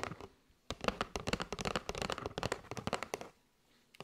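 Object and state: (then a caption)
Cardboard box of paper straws. Long nails tap and scratch along the edge of a kraft cardboard box with a window, full of paper straws. A few light taps start, then after a short pause come rapid, dry, crisp clicks and scratches with a papery rattle. The sound fades to near silence before a final few taps at the end.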